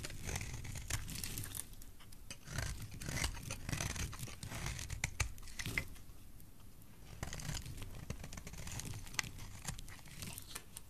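A solid oval green soap bar, held in the hand, is shaved into curls with a utility knife blade. Dry, crisp scraping and cutting strokes crackle and crinkle across the clip, with bright, papery edges over a soft low handling rumble, in a quick uneven rhythm.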